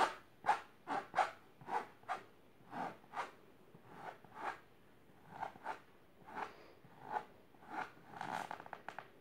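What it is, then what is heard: Fabric-covered box, scratched. Long silver nails scratch fast across a large pink patterned fabric-covered storage box or ottoman. About fourteen short, quiet scratching strokes come in an uneven rhythm, each a soft rasping burst centered in the midrange with airy brightness above. A denser flurry of quick scratches closes the clip.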